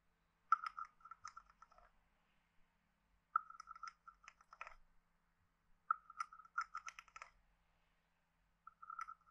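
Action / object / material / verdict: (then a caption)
scrape / carved hollow wooden frog guiro with stick / wood / none. A wooden stick taps the head of a hand-sized, hollow, carved wooden frog guiro and scrapes along its ridges. This produces four short bursts of dry, hollow, woody clicks and rasps centered around 1.3 kHz. The bursts are separated by brief silences, and each tap dies away almost instantly.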